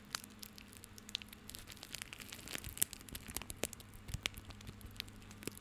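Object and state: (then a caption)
Bundle of plastic rope. Fingertips scratch, rub and squeeze a small tied bundle of plastic rope held in the hand. The result is a quiet, dry, crackling rustle made of many sharp, bright ticks and scrapes, over a faint steady low hum.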